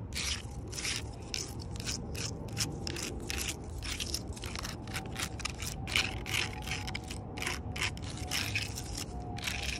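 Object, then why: Rough bark on a large log. Long purple nails scratch and tap the rough, ridged bark of a large solid log. Rapid bursts of bright, dry scratching and crackling run continuously over a steady low rumble.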